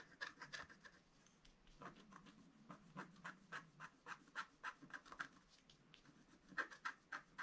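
A wooden stylus tip scratches a flat black sheet of wax-coated scratch art paper lying on a table, tracing around gift-box lines. The strokes come as quiet, short, dry scratches in a loose, uneven rhythm, each with a raspy bright edge and a faint tone near 1.6 kHz, ending almost instantly with no ring.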